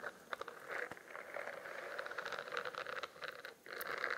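A spiral notebook with a studded, textured plastic cover is held close to the mic while fingernails scratch and tap across its raised bumps. The result is a continuous run of crisp, dry scratching with quick tapping clicks mixed in. It sits mostly in the mid range with a bright edge and briefly drops near the end before resuming.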